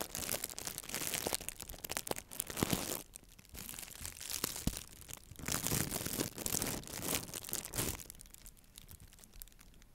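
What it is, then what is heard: Nylon mesh bath pouf. A small white hollow nylon mesh bath pouf, held in one hand with long nails, is squeezed and crinkled next to and against the microphone. Dense, bright crinkling and crunching comes in waves, with louder bursts early on and again in the middle, and quieter, softer rustling between and toward the end.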